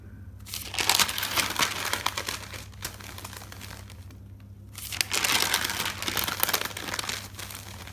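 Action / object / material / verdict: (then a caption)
scrape / thick paper notebook / paper / none. Nails and fingertips lift and turn the pages of a thick paper notebook, making bright, crinkly paper rustles. The sound comes in two longer bursts separated by a quieter pause, over a faint, steady low hum.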